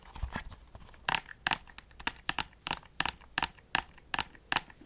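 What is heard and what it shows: Light, irregular fingertip taps on the side and binder edge of a brittle, already-cracked plastic PlayStation CD case produce about fifteen short, dry clicks with bright upper-mid tones and almost no ring. The plastic case sounds very different from a steel book case.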